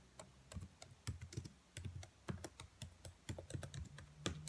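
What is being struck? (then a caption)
Plastic laptop keyboard keys. Long white nails tap and type on black plastic laptop keys, with the hand held close. About two dozen quick, dry clicks land in irregular bursts, each with a short bright tick over a soft low thud that dies away almost at once.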